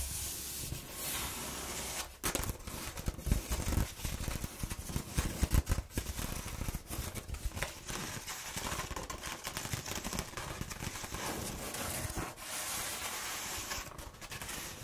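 A sheet of corrugated cardboard, rolled into a hollow tube and held in the hand, is scratched and rubbed along its ribs with fingernails. The result is a dense, continuous run of crackly scratching and rustling with a low, hollow rumble underneath, and brief louder bursts throughout.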